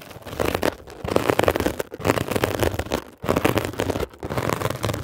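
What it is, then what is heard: Textured foam scrub sponge. A metal ear pick scratches and pokes a blue mesh-covered textured foam scrub sponge, making dense, crackly scraping in quick rough bursts. The sound sits mostly in the mid range and stops briefly a few times before starting again.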